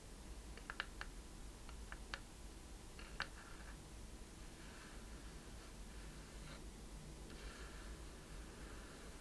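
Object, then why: Small wooden chest with metal fittings. A small hollow wooden treasure chest with a metal latch and corners is held in both hands while long painted nails scratch and tap its wooden surface. The result is a quiet, scratchy, writing-like sound with several sharp, short clicks in the first few seconds over a low hum.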